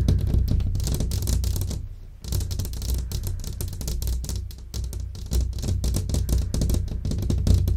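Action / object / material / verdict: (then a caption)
tap / glass window pane / glass / none. Long fingernails tap rapidly and unevenly on a large, flat glass window pane set in a frame, making a stream of short, bright clicks over a steady low hum. The tapping pauses briefly near the two-second mark, then continues at a similar pace to the end.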